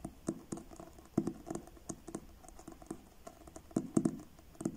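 Fingertips tap the front of a paperback book with a blue card cover, producing a quick run of soft, dry taps with a low, muffled body around 320 Hz and brief bright clicks on top. Each tap dies away almost at once, with uneven spacing and a few louder strikes standing out near the start and end.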